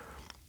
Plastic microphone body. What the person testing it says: this does sound a little bit hollow when you kind of tap on it